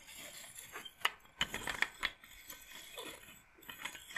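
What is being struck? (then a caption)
Wooden bead massage roller. A handheld wooden bead massage roller, a rectangular wooden frame strung with rows of small wooden beads, is held up and handled with long painted nails. The beads clatter as they are rolled and shaken, giving a series of sharp, bright clicks that die away almost at once over a soft rustling bed.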